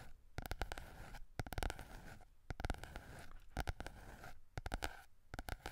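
Fingertips and nails scratch and tap the glossy yellow card cover of a small softcover Berlitz German phrase book with a solid paper block, held in both hands in front of the microphone. Clusters of quick, dry, close taps come in bursts over a soft papery scratching, with a heavy low thump and no ring.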